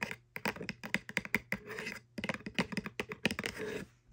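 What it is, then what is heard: Cardboard box scratched with fingernails. Long French-manicured nails scratch along the side and edge of a small, hollow corrugated kraft cardboard box. Quick, crisp, bright clicks and scratches alternate with short raspy scraping strokes, broken by a brief pause about halfway through.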